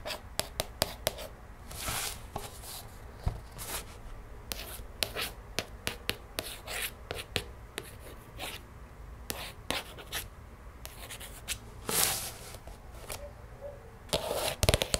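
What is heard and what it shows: Long nails trace and tap across the plastic-covered front of a closed, hollow plastic DVD case held and tilted on a table. Quick, sharp clicking taps alternate with soft, airy scratching swipes that rise into bright hiss, over a faint low hum.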